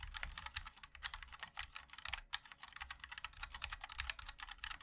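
A 60% MOD-L mechanical keyboard with linear switches, a black 5-degree aluminum case and white and black GMK ABS keycaps sits on a wooden wrist rest while both hands type continuously with the fingertips. The result is a quick, steady stream of short, bright clacks that die away almost instantly, with little low-end weight.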